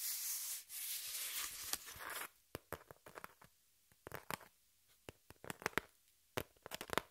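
Long pink nails scratch and rub the surface of a flat, hand-sized piece of thin, light brown corrugated cardboard held upright. A steady, bright, hissing rub lasts about two seconds, then gives way to a scattered series of short, sharp, dry scratches separated by quiet gaps.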